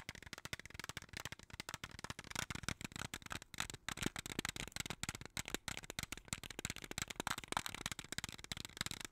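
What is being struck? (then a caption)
Small plastic jar of beads. A small clear plastic jar full of colorful beads is shaken and tapped with long nails. A quick, steady stream of bright, dry clicks and rattles runs throughout, with each tap dying away almost instantly.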